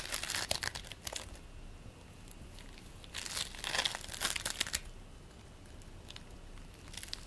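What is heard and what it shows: A handful of purple and white polystyrene bead play foam is squeezed and kneaded in both hands, with a few loose crumbs lying on a plate. Bright, crackly crunching and crinkling bursts come in two busy stretches, near the start and around the middle. A quieter, steady crackle continues between and after them.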